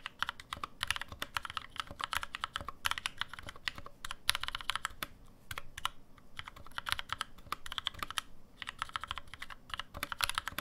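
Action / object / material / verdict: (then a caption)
tap / aluminum-case mechanical keyboard with plastic keycaps / aluminum, plastic / none. Rapid two-handed fingertip typing on a black NovelKeys NK65, a 65% mechanical keyboard with an aluminum case, plastic keycaps and lubed NovelKeys Cream switches, resting on a deskmat. The result is a dense stream of short, dry, bright clacks in quick bursts with brief pauses, over a soft low thud from each keystroke.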